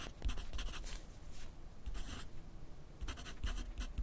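A yellow wooden graphite pencil writes continuously on a thin grid paper sheet resting on a white clipboard. Its tip makes dry, scratchy strokes in short bursts of bright hiss, with a soft low thump underneath from the clipboard.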